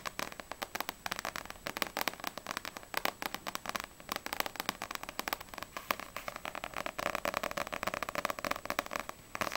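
Long nails tap quickly on the glossy paper front cover of a small, solid paperback manga, Ousama Game Extreme volume 1. The result is a rapid, steady stream of short, dry, bright clicks centered around 1.1 kHz, with almost no low end and no ring after each tap.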